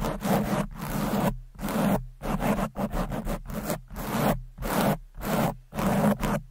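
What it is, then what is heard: Foam microphone windscreen being scratched. Long pointed nails scratch and claw fast at the sides of a red foam windscreen covering a microphone. Nine rough, bristly bursts of scratching sound close up, each broad and crackly with a low steady hum underneath. The bursts are separated by brief near-silent gaps.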